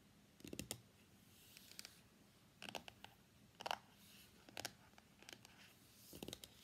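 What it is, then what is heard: Cardboard phone box tapped with nails. Long nails and fingertips tap rapidly on the printed lid of a closed, small, hollow white cardboard iPhone X box lying on a desk mat, and the box is lifted at the end. The taps come in quick, quiet clusters of dry, bright clicks and light scratches that stop at once with no ring.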